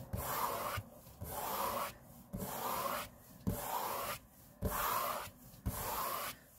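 Fingertips of both hands rub a large, flat, solid grey laminate tabletop in six separate strokes. Each stroke starts with a soft low bump and carries on as a steady, hissy swish centered in the mid range, with quiet gaps between strokes.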